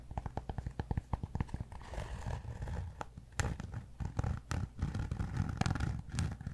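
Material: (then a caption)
Cork. Fingertips tap and scratch the broad surface of a large, solid cork yoga block held in one hand. A quick run of dull, low, short taps gives way to soft, dry scratching, then more scattered taps. The taps are thuddy and die away almost instantly.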